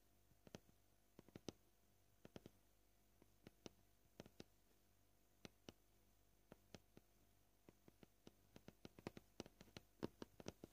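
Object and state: Plastic cutting board.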